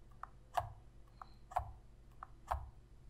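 Long red nails tap and click on the face buttons and sticks of a hollow black plastic Sony PS3 controller held in both hands. Six short, dry clicks alternate between a softer tap and a louder knock, each with a low thud beneath a mid-pitched click that dies away almost instantly. The taps come at a slow, loose pace of about one per second over a quiet background.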